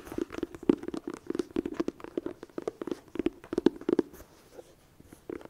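Long dark nails tap rapidly on the lid and front edge of a closed, hollow red cardboard eyeshadow palette with a small metal clasp on the front edge. About two dozen quick, dry, hollow taps land with a midrange knock and almost no ring. They thin out near the end before a final short cluster.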